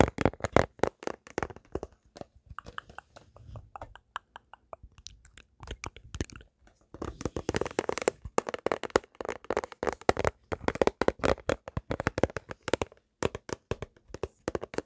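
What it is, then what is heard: Empty plastic food container. A small, hollow, empty, clear rectangular plastic food container is held up in both hands and tapped with fingertips and nails. The taps are quick and crisp with almost no ring. They come in dense, irregular bursts that sometimes run together into a crinkly clatter, with a short quieter stretch partway through.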